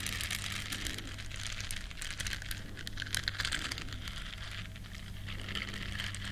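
Long nails and fingertips rub and scratch the bristles of a small, flat, solid yellow silicone duck-shaped scrubber. A dense, steady, crackly scratching with bright, rain-like patter runs throughout, over a constant low hum.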